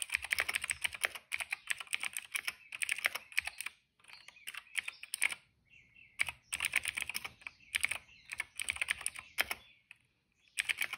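A retro-style cream plastic mechanical keyboard with dark and purple plastic keycaps and a hollow case, resting on a rug, is typed on steadily with the fingertips of both hands. Bright, crisp clicky taps come in fast bursts, with short pauses between runs of keystrokes.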